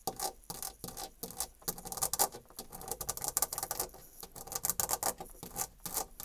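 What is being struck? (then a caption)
Painted molded panel door. Long nails rapidly scratch across a white painted molded panel door with a horizontal embossed wood-grain texture, dragging over the grooved surface. The result is a quick run of dry, bright, raspy scrapes that stop and start in short bursts, with little low end and almost no ring.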